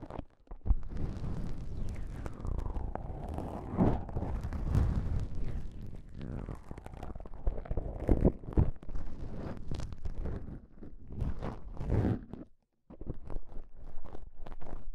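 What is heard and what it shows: Pieces of beige self-adhesive elastic bandage fabric, one held in each hand, are pressed and rubbed between fingertips and thumbs. The result is a steady stream of close, muffled, heavily low-weighted rubbing and sticky crackling with scattered soft pops. There is a brief silent gap near the end before the rubbing resumes.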